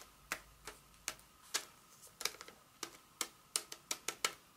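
A flat, solid, roughly hand-sized Hershey's milk chocolate bar in its paper wrapper with foil inside, held in one hand, is tapped and scratched with very long acrylic nails. About fourteen quiet, sharp, bright clicks land at an irregular pace, each dying away almost instantly. A faint steady tone near 1.3 kHz sits beneath them.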